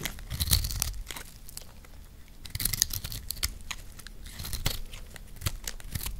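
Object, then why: Recycled soap block scraped with a metal blade. A green, dry, solid recycled soap block, palm-sized and held in one hand, is scraped and sliced with a metal blade. Flaky crumbs break off. Dense, crisp tearing and crunching scrapes come in quick bursts with bright high crackle and a low thud underneath.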